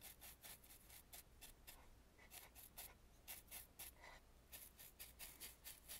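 A black bristle brush sweeps across the carved, gilded brow of a painted wooden mask in fifteen quick, separate strokes. Each stroke is a soft, bright, hissy swish over a faint low hum.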